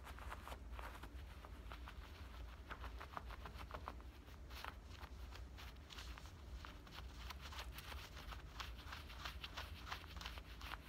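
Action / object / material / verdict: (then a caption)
scrape / denim shorts pocket / denim / none. Fingernails scratch along the front pocket opening and stitched seams of a pair of worn black denim shorts. Quick, bright, rasping strokes repeat steadily over a constant low rumble, each stroke dying away almost at once.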